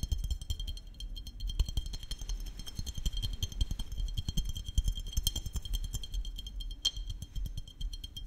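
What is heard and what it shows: Fingertips and nails tap a small glass maple syrup bottle with a paper label and red plastic cap, held close to the microphone. The result is a quick, irregular run of soft, low thuds with light glassy clinks and a faint bright ring over them.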